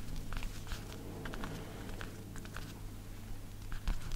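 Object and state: Leather jacket.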